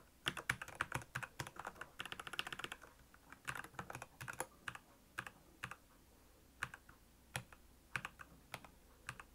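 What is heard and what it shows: Fingertips of both hands type continuously on a black plastic Royal Kludge mechanical keyboard with backlit keys. Sharp, bright clacks come in a dense burst at first, then thin out into sparser, separated key presses over a quiet background.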